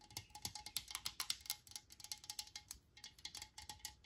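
A metal Lysol aerosol spray can is held and tapped rapidly with long nails, giving about 27 quick, quiet, bright clicking taps. Each tap has a faint metallic ring that dies away almost instantly.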